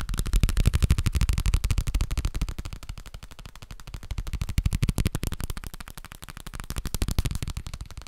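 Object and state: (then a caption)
Paper booklet with card cover. Fingertips rapidly tap the cover of a thin, flat, A5-size booklet with a dark navy card cover and white paper pages, held in one hand near the microphone. The taps are quick, dry and muffled, with a low, soft thud and almost no ring. They come in a fast, uneven stream that swells louder and fades back in waves.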